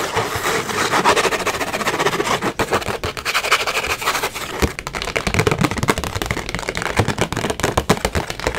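Long acrylic nails tap fast and aggressively on a small, hollow white cardboard gift box with a rose print, and scratch across its surface. The result is a dense stream of dry, hollow clicks and knocks over a bright, rasping scratch. Each tap dies away almost instantly.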